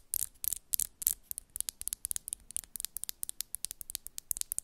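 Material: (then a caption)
Acrylic. Long, solid coffin-shaped acrylic press-on nails are tapped and scratched tip against tip on the other hand's nails. The result is a fast run of about 26 sharp, dry clicks, quiet and very bright, with short scratchy rasps between them. Each click dies away almost instantly.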